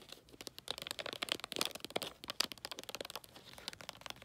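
Fingertips and nails rub and scratch holographic tree-print foil wrapping paper on a long gift box. The result is a dense run of short, bright crinkling and scratching bursts with almost no low end, and each burst dies away almost instantly.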